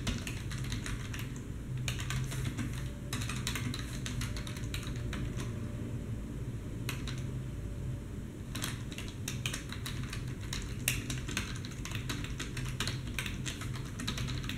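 Both hands type continuously with their fingertips on a black plastic desktop keyboard resting on a wooden desk. Rapid, bright plastic key clicks come in quick bursts with brief pauses, over a steady low hum.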